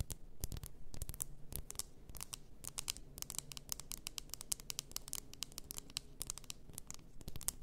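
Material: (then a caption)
Glass. Long nails tap and scratch the shoulders and sides of a large bottle, apparently glass, filled with pink bath salt. Rapid, dry, bright clicks and short scratches come in quick clusters over a soft low rumble. Each tap dies away almost instantly.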